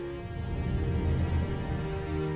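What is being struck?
Nothing is struck.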